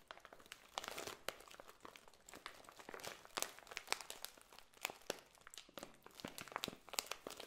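A full clear plastic bag of dried potpourri with a cardboard header tag is held in both hands, squeezed and scratched with long nails. It gives a dense, bright crinkling and crunching made of many short, sharp cracks. The crackle is quiet overall, with little low end.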